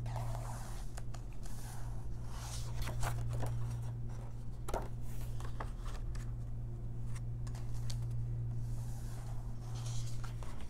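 Fingertips and long nails turn and trace the illustrated pages of an open paper coloring book, making soft, bright rustles and scratchy swipes. A steady low hum sits beneath the quiet paper sounds throughout.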